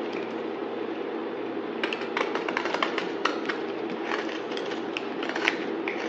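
A utility knife blade slices and scrapes through a solid yellow-green bar of soap held in the hand. A steady, muffled hiss runs throughout. From about two seconds in, it breaks into a quick flurry of crisp, bright clicks and dry scraping cuts.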